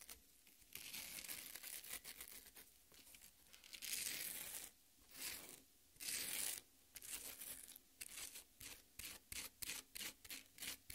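Long nails rub and scratch the juicy red flesh of a half watermelon resting on a plate. The result is bright, wet, tearing scrapes: longer drawn-out strokes at first, then a quick run of short, separate scratches toward the end.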